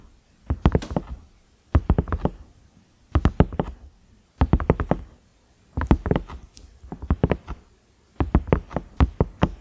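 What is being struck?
Silicone microwave lid with knob.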